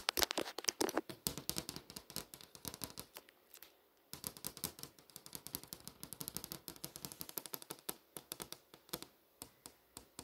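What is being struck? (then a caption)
Glass touchscreen display. Long nails tap and trace over the text of a movie info page on a flat glass touchscreen display. Dozens of quick, bright, dry clicks come in an irregular stream, with soft scraping between them and a brief pause near the middle.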